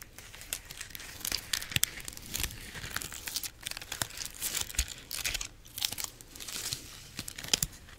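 Long nails scratch the rind of a large, solid whole pineapple, then grip and rub the stiff leaves of its crown. The sound is a dry, bright run of scratchy crackles and crinkling rustles with sharp short bursts, mostly high in tone with little low end.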